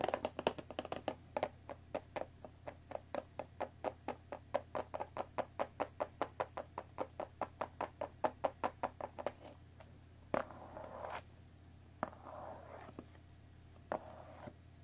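Long dark nails tap and knock on the top edge and front face of a closed Earl Grey tea box made of thin printed cardboard, about 20 cm long and likely full of tea bags, resting on a wooden table. A quick, steady run of dry, short, hollow taps with a mid-range body plays over a low steady hum. After about nine seconds it slows to a few scattered knocks with soft rustling between them.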